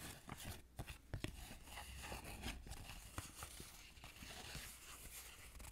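A thin, flat Mexican 100-peso paper banknote is held in both hands while long colorful nails rub, crinkle and scratch it. Dry crackling and scratchy paper rustles come in short bursts over a low background hum. Several sharper crinkles stand out near the start.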